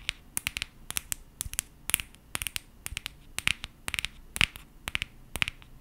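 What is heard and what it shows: A small gold and green aluminum coffee capsule, held in both hands in front of a microphone, is scratched and tapped with long painted nails. Around 27 quick, dry clicks and scratchy crinkles ring out, bright and metallic with a faint tone near 2.6 kHz. They come in irregular bursts over a quiet low hum, and each one stops almost instantly.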